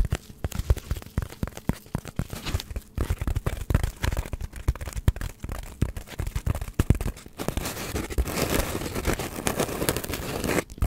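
A hand-sized, solid white polystyrene foam block is scratched and tapped with long nails, giving a dense run of quick, dry, crackling taps with a heavy low thump. After about seven seconds, the taps give way to a steadier, brighter squeaky scratching texture, and a few final taps follow at the end.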